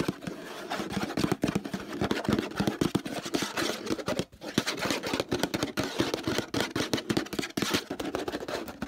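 Fingertips and nails tap and scratch quickly across the sides of a large, empty-looking, hollow orange plastic laundry detergent bottle with a handle. The rapid, dense, dry taps have a hollow, low-mid body, mixed with a bright scratchy rasp, and keep going without pause for the whole clip.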